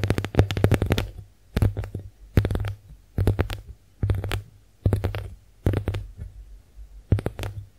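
Long nails tap and scratch a pink heart-shaped konjac face sponge held up close. They make quick bursts of soft, muffled taps with a low, thumpy tone and little high content. Each burst dies away quickly into near silence before the next begins.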